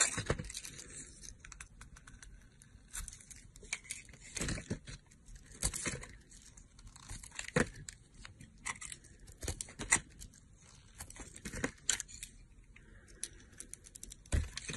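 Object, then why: Bar of soap cut with a blade. A solid blue bar of soap, held in the hand, is sliced with a yellow box cutter blade. Repeated dry scraping and crisp crunching cuts run throughout, with bright, sharp transients on each stroke and quiet pauses between them.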